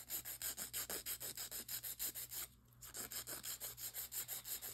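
A white emery board, held in a gloved hand, files the side walls of long acrylic nail extensions on a hand. It makes about 28 quick, bright, scratchy rubbing strokes in a steady back-and-forth rhythm, with a brief pause just past the midpoint.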